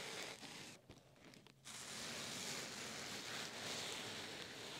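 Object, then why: Open-cell foam pad. Fingertips with short painted nails scratch, press and rub the surface of a large, flat black open-cell foam pad lying in a cardboard box with a white insulated liner. The result is a bright, hissy scratching rustle that briefly drops quieter partway through, then continues steadily to the end.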